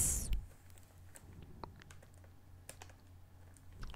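Long nails tap and scratch the top of a flat, plastic-wrapped blue cardboard box of Peeps candy lying on a table. Quiet, sharp, bright clicks and soft scratches are scattered over a steady low hum, after a brief burst of bright rustle at the start.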